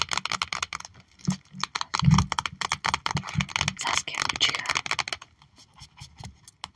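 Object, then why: Trading card binder page with clear plastic pockets. Long acrylic nails tap rapidly on a trading card binder page holding cards in clear plastic pockets. A fast, uneven run of sharp, bright plastic clicks with soft low thumps underneath, each dying away almost at once. The tapping grows denser and louder in the middle, then thins out toward the end.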